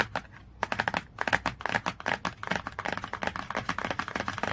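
A fast flurry of short, bright clicks mixed with scratchy swipes, no ringing tail after any of them. Long nails rattle over the glossy hardcover of a large book, and the stiff board gives a dry, papery tick rather than any resonance.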